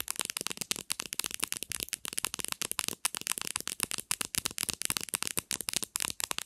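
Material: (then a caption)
Plastic. Long nails tap rapidly on the textured plastic back cover of a black Samsung smartphone, near the camera, as the phone lies face-down on a white surface. The result is a fast, steady stream of dry, bright clicks with almost no low end, each tap dying away at once.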